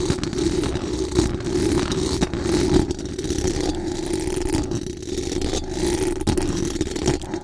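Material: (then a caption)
Metal mesh. Very long acrylic nails scratch fast and hard across the hollow metal mesh dome grille of a large condenser microphone. The result is a continuous, dense, raspy scraping with a strong low-mid hum around 350 Hz and brief, brighter scratchy bursts, holding steady for the whole clip.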